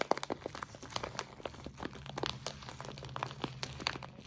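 Fingertips squeeze and press a clear plastic zip-lock bag full of white soy wax flakes, crinkling the plastic and crunching the flakes inside. It makes a quiet run of short, dry, crackly bursts with bright edges and no ring, over a faint low hum.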